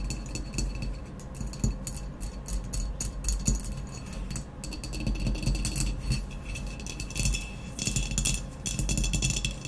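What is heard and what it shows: Long nails tap and scratch rapidly on the speckled blue glazed shoulder of a hollow, empty ceramic vase lying on its side with its opening facing forward. The quick, dense clicks carry bright, short glassy rings over a low, hollow body resonance, swelling in and out in busy clusters without clear gaps.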